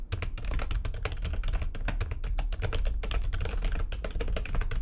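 Fingertips with long nails type fast on the keys of a full-size, low-profile, backlit plastic computer keyboard resting on a desk. The result is a rapid, continuous stream of sharp, bright clicks and taps over a steady low hum.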